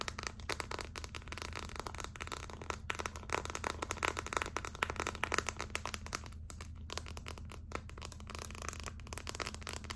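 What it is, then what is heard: Plastic phone case. Long acrylic nails tap and scratch the back surface of a hollow gold glitter clear plastic phone case. Rapid, dense clicks and scratchy crackling run throughout at a steady, quiet level, with bright edges over a constant low hum.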